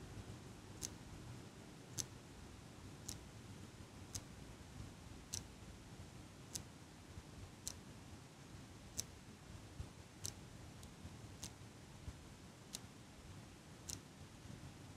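Fingertips squeeze the handles of a small metal eyelash curler held close to the microphone, producing 13 sharp, bright ticking clicks at a steady pace of roughly one per second. Each click dies almost instantly over a soft, constant low hiss.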